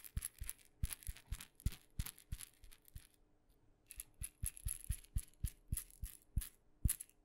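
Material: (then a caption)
Wood. A small, hollow, painted wooden mini maraca with red dots is held in the fingers and tapped with long nails. Short, dry clicks come in an uneven rhythm, each with a soft low thud and a bright, brief rattle that dies away almost at once. There is a quiet pause around the middle before the tapping picks up again.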